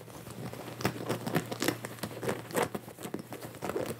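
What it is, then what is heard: Denim jacket fabric being scratched. Both hands scratch and rub the soft fabric on the chest of a worn Sherpa-collared blue denim jacket with fingertips and nails, close to a white earphone mic cable. Dry, crinkly scratching comes in quick, uneven bursts of short rasps with almost no ring. A faint steady low hum sits underneath.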